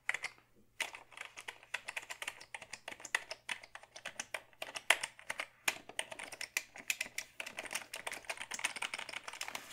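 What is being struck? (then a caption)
Plastic computer keyboard. Fingertips type on a black Dell keyboard made of hollow plastic, producing rapid streams of short, bright, dry clicks and clacks. The keystrokes come in quick runs broken by a brief pause near the start and a shorter one midway. Each click dies away almost instantly, with little low end.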